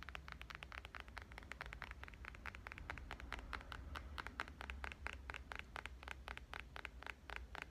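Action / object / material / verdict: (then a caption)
tap / smartphone with glass surfaces and metal frame / glass, metal / none. A black smartphone with glass surfaces and a metal frame is tapped and lightly scratched with long painted nails, held first in one hand and then in both. Rapid, crisp clicks with short, bright, scratchy edges ring around 1.5 kHz and die away almost instantly. A steady low hum runs underneath throughout.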